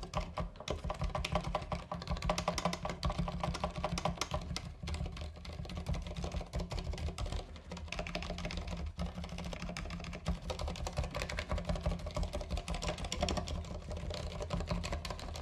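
Fingertips type steadily on a compact white and green mechanical keyboard with plastic keycaps, producing a fast, continuous stream of short, crisp clacks for about fifteen seconds. A steady low rumble runs underneath the keystrokes throughout.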